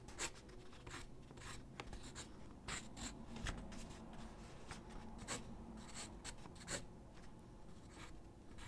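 A graphite pencil held in the hand scratches across a large white sheet of drawing paper lying flat on a wooden desk while sketching figure drawings. Quiet, irregular bursts of dry, bright scratching strokes sit over a soft low rumble, with a few sharper accents scattered throughout.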